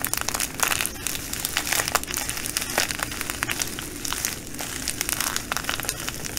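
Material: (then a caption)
Plastic, glass. Fingers fold and squeeze a clear plastic bag of green glass bugle beads while long nails scratch the plastic. The result is a steady, bright crinkling and rustling, dotted with quick, sharp clicks as the beads shift and tap inside.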